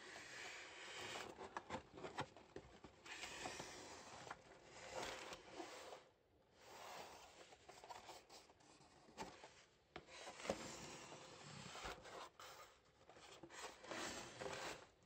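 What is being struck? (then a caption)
Cardboard shoe box. Green rubber-gloved fingertips rub and scratch along the surface of a closed, hollow brown cardboard shoebox holding a pair of grey Vivobarefoot Drake shoes, size EU 42. Soft, dry scraping and rasping comes in uneven bursts with brief quiet gaps, bright and hissy with a faint mid-range hollow tone and little low end.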